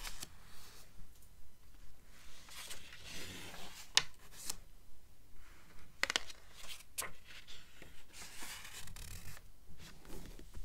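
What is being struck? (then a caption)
Paper pages of a thick book. Long nails scratch across the printed paper pages of an open, thick blue book lying on a table, making soft, rhythmic rubbing swishes with a bright, papery edge. Four sharp taps on the pages punctuate the quiet scratching.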